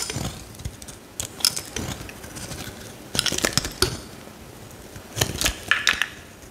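A metal utility knife blade shaves and carves curls off a solid pale green bar of soap held in the hand while the piece is broken apart. Crisp, bright scraping and sharp crackling snaps come in short irregular bursts, with quieter rasping between them.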